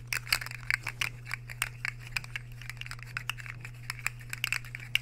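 Metal fork tines are scraped across the face of a solid, empty white square ceramic plate held tilted. The result is a rapid, irregular run of short, bright, scratchy scrapes and squeaks over a steady low hum.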